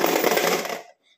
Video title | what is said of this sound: piggy bank for kids girls | when you shake it, you can hear your money